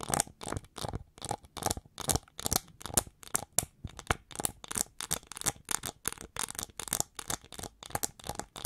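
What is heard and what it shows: Long nails on both hands scratch the ridged wing sections of the hollow back of a gold-plated, gold-metallized plastic winged hair brush held upright by its handle. About 37 short, dry, bright scratches come in a quick, steady rhythm, each crisp and hissy with almost no ring.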